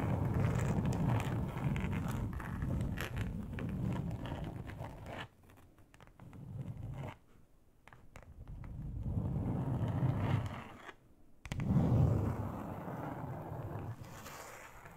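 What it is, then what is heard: Textured plastic board scratched with nails. Long acrylic nails on both hands scratch and drag across a large, flat grey plastic board: a solid thin sheet with a finely textured surface. The result is a dense, low, rumbling scrape with a rustling texture, heavy in the bass and with little high-end brightness. It dips quieter twice midway, then returns loudly toward the end.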